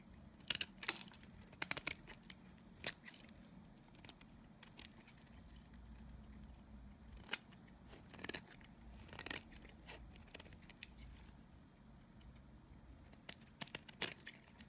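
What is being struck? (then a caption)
Bar of soap shaved with a blade. A solid oval cream-colored dry bar of Nevskaya kosmetika soap is shaved with a utility knife blade held in the other hand. Sharp, bright scraping crackles come in short bursts and clusters, each dying away almost instantly, over a faint low background hum.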